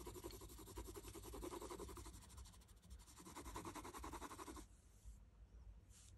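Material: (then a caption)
Paper. A red wooden colored pencil is rubbed in quick strokes across a thin printed paper coloring sheet lying flat on a table, coloring a figure's skin. A dense, rapid run of soft scratchy strokes with a raspy, papery texture continues for about four and a half seconds, then stops, leaving only faint, quiet hiss to the end.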